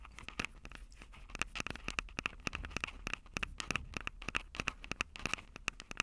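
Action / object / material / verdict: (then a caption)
tap / plastic handheld audio recorder with metal microphone grilles / plastic, metal / none. Long purple acrylic nails scratch and tap the two metal-grilled microphone capsules of a Tascam DR-05 handheld recorder with a plastic body. Dozens of quick, dry, irregular clicks and scratches come through bright and crackly, each with a faint ringing tone near 2.6 kHz over a low rumble.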